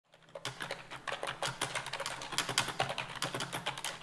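A white plastic desktop keyboard with hollow-key construction sits on a desk and is typed on with both hands, using fingertips and long nails. It produces a steady run of quick, bright, clacky key clicks with a light hollow tap. Each click is short and dies away almost at once.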